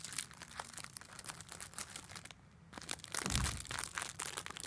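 A small pink makeup sponge in a clear plastic wrapper is squeezed and crinkled by fingertips with long black nails. Dense, bright crackles run throughout, with a brief near-silent gap past the midpoint. A louder, fuller crunch follows the gap.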